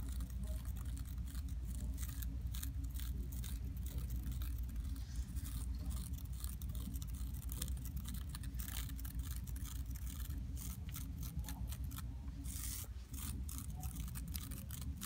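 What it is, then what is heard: Carpet floor. A library floor covered in low-pile, multicolored striped woven carpet is scratched and rubbed with long acrylic nails and fingertips. The result is a steady, low rumbling hiss with rapid, dense scratching strokes that continue throughout.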